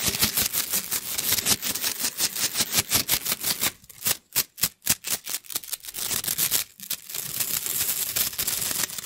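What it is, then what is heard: Plastic slinky. A hollow rainbow plastic coil spring toy is stretched and dropped between the hands so its coils slap together. The result is a fast, dense run of bright, dry clacks and clicks, with a few sparser, sharper snaps in the middle before the rapid clatter picks up again.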